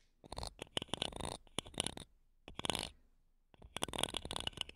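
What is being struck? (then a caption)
Metal mesh microphone grille scratched with wooden toothpicks. Wooden toothpicks held between long nails scratch across the metal mesh tops of two small, solid, silver condenser microphones. Four bursts of dry, gritty scratching and rapid crackly scrapes come with short silent gaps between them. The sound is bright and high-heavy, with a thin upper ring near 3.3 kHz.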